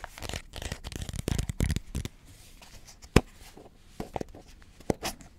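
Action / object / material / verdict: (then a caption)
scrape / cardboard composite chip tube / cardboard / none. Fingertips and nails scratch and tap along the printed surface of a red Pringles chip can, a hollow cardboard composite tube held close to the microphone. A dense run of soft, rough scratching fills the first two seconds, then after a quieter stretch a few sharp, dry taps stand out clearly.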